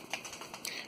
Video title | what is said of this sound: Kizlyar Supreme Trident in D2 Early Impressions | There is some rattling, but you really have to shake it, and even then it's only sometimes.